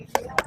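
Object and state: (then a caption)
Unripe durian. A Monthong durian is tapped twice with a tool to judge its ripeness, giving two short, sharp knocks with a hollow mid-range tone around 1 kHz and almost no ring. The fruit is judged not yet ripe and expected to ripen around tomorrow.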